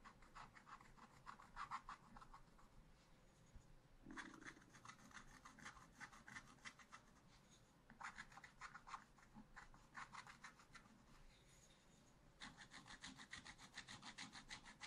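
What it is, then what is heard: Scratch-art paper being scratched. A wooden stylus scratches the black coating of a scratch-art page with a monkey picture, in a spiral-bound scratch-art book lying flat on a table. Bursts of quick, short strokes make a dry, bright rasping with no ring, separated by brief quieter pauses.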